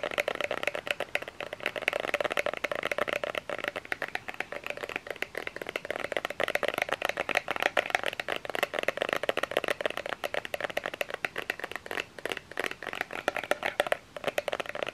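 Fingernails tap rapidly and steadily on a small plastic lotion bottle with an orange cap, held in both hands. The dense stream of short, dry, hollow clicks centers around 730 Hz with a bright edge, and each tap stops almost instantly with no ring.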